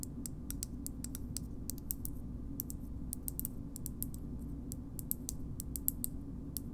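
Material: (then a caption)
Plastic. A small, hard, hollow, curved green plastic shoehorn is tapped and scratched with long nails, producing a steady run of sharp, bright, dry clicks with almost no ring. A constant low hum sits underneath throughout.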